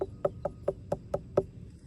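Seven evenly spaced knocks on a watermelon still growing on the vine in a garden, each a short, dull, hollow-sounding thump centered around 390 Hz that dies away almost at once. The hollow sound, together with a check of the tendril opposite the stem, marks the uncut melon as nearly ripe.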